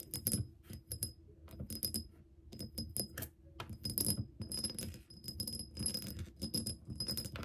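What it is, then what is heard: Glass soap dispenser bottle. Long nails tap and scratch a clear, bubble-shaped glass soap dispenser pump bottle, partly filled with liquid and standing on a table. Quick bright clicks with short high glassy glints mix with rasping scratches and soft low knocks in uneven bursts throughout.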